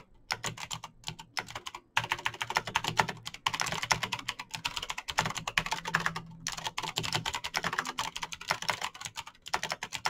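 Fingertips type fast on a backlit plastic Razer BlackWidow mechanical keyboard with clicky green switches. The result is a dense stream of sharp, bright clicks that die away almost instantly, with short pauses near 2 and 6.5 seconds.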